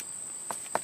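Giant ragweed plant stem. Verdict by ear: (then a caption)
Stiff. Two short, dry woody taps sound on the stiff, almost woody stem of a giant ragweed plant as it is flicked, each a bright knock centred around 600 Hz that dies away almost instantly. A thin, steady high-pitched tone runs underneath throughout. The stem sounds like wood, which is why it is thought usable for atlatl darts.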